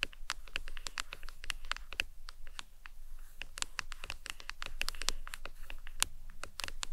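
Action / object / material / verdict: tap / hard plastic phone case / plastic / none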